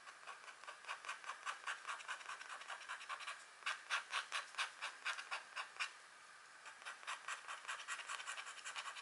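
A pointed green stylus scratches repeated short strokes into the coating of a flat, thin, black wax-coated scratch art card. About 26 dry, rasping scrapes sit in the mids and brighter highs with almost no low end, and there is a brief pause about two-thirds of the way through before the strokes resume.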